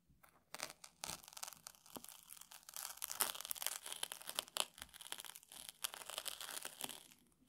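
A small metal tool scratches and picks at the crunchy grains of a round puffed rice cake in a red wrapper. It makes dense, bright, crackling and crinkling scratches with sharp little crunches that come and go in quick bursts.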